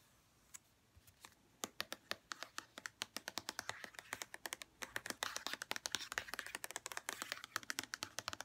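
Long red-painted nails tap and scratch a hollow white plastic St. Ives body lotion bottle with a printed label. After a few sparse clicks, it becomes a quick, dense run of about fifty dry, bright taps with no ring, and a soft scratchy hiss fills the gaps between them.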